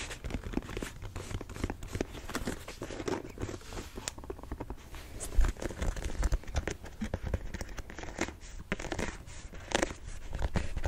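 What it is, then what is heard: Sneaker upper (nubuck, mesh, plastic eyelets). Fingernails rapidly scratch and tap a single, empty black and yellow Jordan 4 'Thunder' sneaker held close to the mic, working over the nubuck upper, the mesh panel and the yellow plastic eyelets of the shoe, which is made of nubuck, mesh and rubber. The sound is a dense, steady stream of soft crinkly scrapes and quick dull taps with a hollow, low-heavy body and very little ring.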